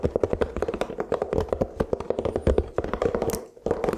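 A large, thin, round, brittle toasted rice cracker dotted with black sesame is held up in both hands in front of a microphone and tapped with fingertips. A fast run of light, dry taps with a hollow mid-pitched tone follows, each dying out almost instantly. The tapping pauses briefly near the end, then resumes.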